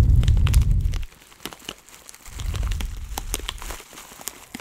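A clear plastic zip bag, partly full of dry loose herbs, is crinkled, squeezed and pinched with fingertips. Dense, low rustling swells in two stretches while sharp, bright crackles and snaps pop out through the quieter gaps.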